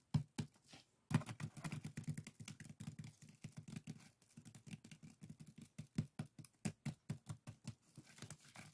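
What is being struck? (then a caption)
Woven split-bamboo strainer. Fingertips and nails rub and scratch the colored weave of a small, hollow, empty pair of woven split-bamboo bokjori strainers. The result is a quiet, steady run of rapid, dry scratches and taps with a hollow, low body around 145 Hz and very little bright content. There is a brief pause near the one-second mark.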